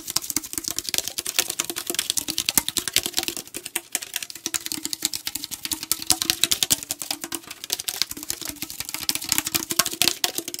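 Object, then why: Aluminum tea can. A tall aluminum tea can, held sideways, is tapped rapidly with fingernails on its body, producing a dense stream of sharp, bright clicks. The short ticks have almost no ring and are mostly high in pitch, over a faint low hum around a few hundred hertz.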